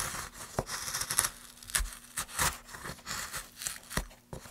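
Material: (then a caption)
Pine wood. Gloved hands push a gouge along a groove in a solid pine plank, curling off shavings. A quick, uneven run of short, bright, dry scraping strokes follows, each a crisp rasp with a faint low thump beneath.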